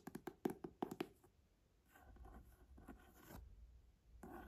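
About seven quick, muffled taps in the first second, low and dead with almost no ring, like fingertips on a padded leather cover over board. Then comes a longer dry scratching as nails drag across the raised decoration, in a quiet small room.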